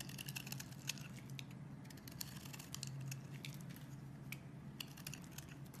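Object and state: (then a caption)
Bar soap being carved. A metal blade scrapes and carves thin shavings off one end of a rectangular solid bar of soap with green and beige layers, held in a hand with long red nails. Quiet, rapid, crisp scratching ticks and bright crackles sound over a steady low hum, with a few sharper clicks standing out.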